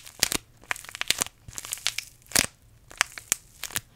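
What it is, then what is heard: Paper tea bag sachet crinkled. A small green paper tea bag sachet is squeezed and crinkled between the fingers close to the microphone. It produces a series of sharp, bright crinkling crackles in quick bursts, with almost no low end and no ring between them.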